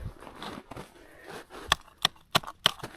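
Soft crunching and shuffling on frozen lake ice is followed by five sharp, bright taps on a new spot, each short with almost no ring. This spot sounds and feels stiffer and firmer than an earlier hollow-sounding patch of the ice.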